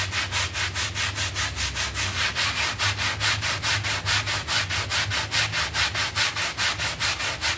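A red hand brush scrubs a small, wet, soapy, filthy synthetic pile carpet mat lying on a tiled floor, in fast, steady back-and-forth strokes. About eighteen even, bright, bristly rasps follow one another at a regular pace, with a faint low hum underneath.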